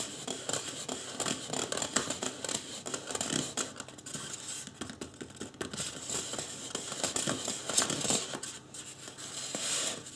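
Fingertips scratch the top of a life-size white polystyrene foam mannequin head, seen face-on. Dense, dry, bright scratching and scraping strokes follow one another quickly, with soft crinkly texture, little low end and almost no ring after each stroke.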